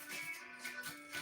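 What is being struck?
Nothing is struck.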